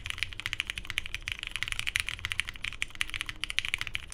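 Fingertips of both hands type continuously on a 75% Tomo mechanical keyboard with lubed Cherry MX Hyperglide Brown switches, a navy hollow case, a polycarbonate plate and cream and grey plastic keycaps, resting on a desk mat. The result is a rapid, steady stream of short, bright plastic clacks centered in the upper midrange, each dying almost instantly, over a soft low thump.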